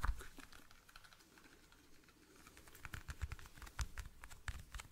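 A small, hollow clear plastic toothpick case is tapped and scratched with fingernails. A sharp tap opens the clip, followed by a stretch of faint scratching. The sound then builds into a quick run of dry, clicky taps with bright ticks over low, dull knocks.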